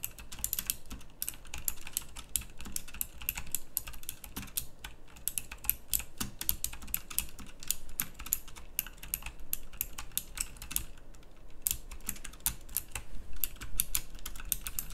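A full-size backlit pink mechanical keyboard with round plastic typewriter-style keycaps is typed on fast with both hands, fingertips and nails striking the keys. A dense stream of sharp, bright clicks runs steadily for the whole clip, each one dying almost instantly.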